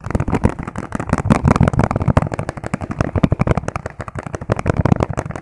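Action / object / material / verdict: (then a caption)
tap / clear plastic food container / plastic / none. A hand-sized, hollow, empty clear plastic food container with ribbed sides is tapped very fast with fingertips. The result is a dense, continuous patter of short, dull, hollow taps, mostly low in tone with little brightness, each dying away almost instantly with no ring.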